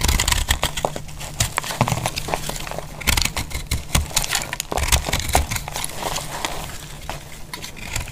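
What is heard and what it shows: A metal utility knife cuts and scrapes a solid, palm-sized, heart-shaped bar of dry orange speckled soap held in the hand, so the soap crumbles into chunks. Dense, crisp crackling and crunching clicks come one after another, with a low thud beneath each cut. The snaps are sharp and bright, with almost no ring.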